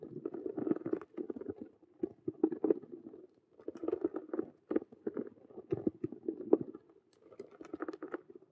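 Long nails scratch and tap fast on the side of a hollow Rubik's cube handbag with a clear vinyl window and a patent faux-leather frame. The result is dense bursts of dry, papery scratching and quick taps, centered in the low-mid range around 390 Hz. Short pauses break up the bursts.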